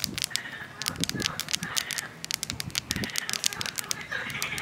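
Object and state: Granite boulder.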